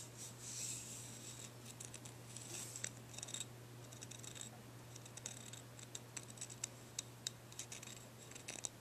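Fingernails scratch the grooved surface of a dark, ridged, curved, solid deer antler dog chew held up in the hand. The result is quiet, bright, dry rasping with sharp clicking ticks that grow more frequent toward the end, over a steady low hum.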